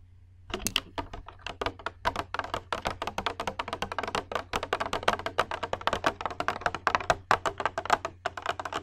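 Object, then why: Small glass bowl. Long red acrylic nails tap and scratch rapidly on a small, hollow, empty clear glass bowl or dome held in both hands near the microphone. The result is a dense, irregular stream of short, bright clicking taps, centered around 1.1 kHz, that die away almost instantly over a faint steady low hum.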